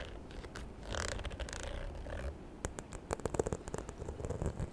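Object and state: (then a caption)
Faux leather handbag. Long nails scratch and tap the textured surface of a small, hollow, white croc-embossed faux leather handbag. The first half is a soft, low scratchy rustle. It gives way to a series of short, dry taps with slight hollow knocks and bright clicks, all at a quiet level.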